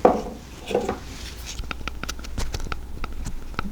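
A 9mm pistol with a metal slide is shaken to check for rattle, giving a couple of soft low thumps followed by a series of faint, short, light clicks. The slide stays nice and tight, with no rattle.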